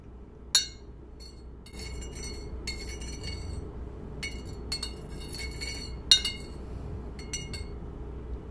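A thin metal spoon stirs a drink inside a white ceramic coffee mug held in one hand, clinking against the inner wall. Two sharp, bright clinks stand out above a steady run of lighter, high-pitched tinkling taps, all over a low background hum.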